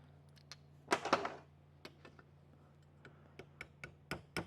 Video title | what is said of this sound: DIY Step by Step LS Valve Spring Install. | tap it on pretty easy you hear the tone change